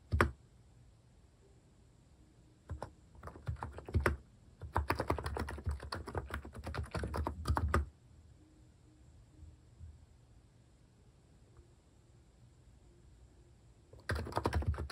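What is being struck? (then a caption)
Compact keyboard with plastic keycaps. Fingertips type on a compact capacitive-switch keyboard fitted with plastic cat-shaped keycaps. Soft, muted, low-pitched key clacks come in bursts of rapid typing, with quiet pauses between them and a final flurry at the end.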